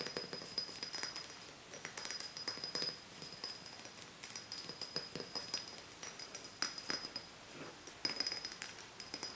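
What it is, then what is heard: Empty glass bottle. An empty small glass soda bottle with a metal screw neck is tapped and scratched with long nails. Quiet, bright clicks and taps come in quick irregular bursts over a thin scratchy hiss, each with a brief high glassy ring that dies away almost at once.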